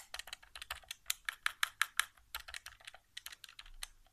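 An index fingertip taps and clicks the face buttons of a white hollow plastic PS4 controller resting on carpet. Quick, dry plastic clicks come in an uneven stream, with a louder, steadier run of sharp clicks in the middle. The clicks are bright and snappy, with almost no low end and no ringing.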